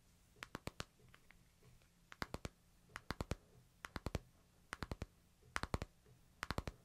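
Fingertips tap the glass screen of a hand-sized smartphone in a light plastic case resting in a palm, making 28 crisp, bright clicks in seven quick bursts of four. Each tap dies away almost at once over a quiet, steady low hum.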